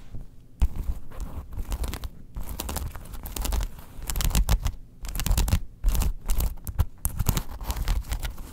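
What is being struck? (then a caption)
Faux leather wallet. Long nails scratch the inner panels of a tan faux leather wallet opened flat to show its card slots and snaps. Dense bursts of dry, rasping scratches come in quick runs, with a low rumbling body beneath and bright scraping edges, separated by brief quiet gaps.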